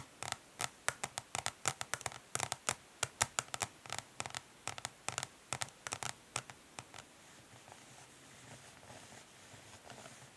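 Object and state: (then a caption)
Plastic eyeshadow palette. Long nails tap quickly and lightly on the underside of a flat plastic eyeshadow palette, a hollow case of dark translucent ridged plastic, making about thirty sharp, bright clicks with almost no ring. After about seven seconds the tapping gives way to soft, continuous light scratching across the ridged plastic.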